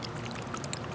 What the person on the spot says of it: when i shake it it's really liquidy